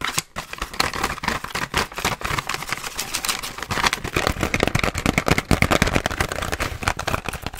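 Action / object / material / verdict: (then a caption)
tap / clear plastic blister pack / plastic / none. A pink BIC razor package, a hollow clear plastic blister shell held in hand, is tapped and scratched rapidly with long nails. The result is a dense, continuous stream of crisp plastic clicks and bright scratching with a hollow low thump under the taps, barely pausing across the clip.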